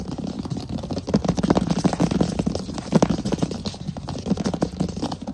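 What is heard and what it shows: Fingertips tap and scratch quickly across a large solid wood plank floor, with the hands sometimes close up. A dense stream of dull, low, woody taps with almost no ring blends with soft scratching, the strongest taps coming in clustered bursts. There is little bright content.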